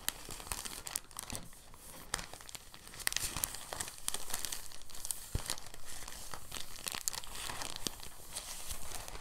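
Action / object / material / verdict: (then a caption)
scrape / thin plastic bag / plastic / none. An empty, thin translucent plastic bag is rolled and pinched between fingertips, producing a steady stream of soft, bright crinkles. Short sharp crackles pop out over a continuous rustling texture throughout the clip.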